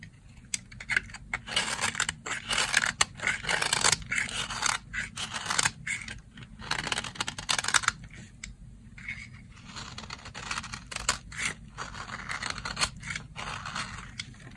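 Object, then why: Soap bar. A blade scrapes and slices thin layers off a solid, dry brown soap bar, making a run of short, dry, bright rasping strokes with almost no ring. The strokes come thick and loud through the first half, then continue softer and more evenly, over a faint low hum.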